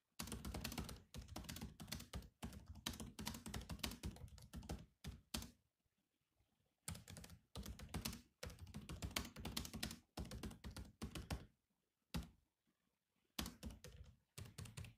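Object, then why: Plastic laptop keyboard. Fast fingertip typing with both hands on the black plastic keys of a grey laptop keyboard. Dense bursts of short, clicky taps with a low, thunky body decay almost instantly, and the typing pauses briefly around the six- and twelve-second marks before resuming.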